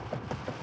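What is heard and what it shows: A piece of wood kept inside a moving vehicle during a storm chase is knocked on three times. Each knock is a dull, low thud with little bright content, over a steady low rumble from the vehicle.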